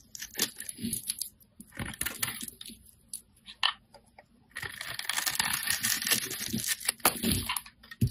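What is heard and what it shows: A metal utility blade scrapes and shaves the surface of a hand-held solid bright green soap bar. Dry, crackly shaving and scraping strokes come in bursts, with a bright, high hiss and a short pause around the middle before denser scraping resumes.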